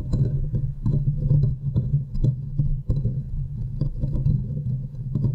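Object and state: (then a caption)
Metal mesh microphone grille being scratched. Long fingernails of both hands scratch and grip the hollow metal mesh head of a silver condenser microphone. The result is a dense, boomy low rumble around 110 Hz, broken by rapid, short scratchy clicks that flick up into brief bright ticks.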